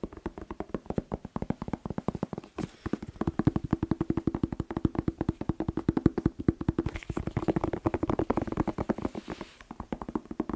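A whole fresh red bell pepper, hollow with waxy skin, is held and tapped fast with fingertips and nails. Dozens of quick, dry, hollow knocks come in a steady stream, centered around a low-mid pitch near 300 Hz with almost no high end. Each tap dies away at once with no ring.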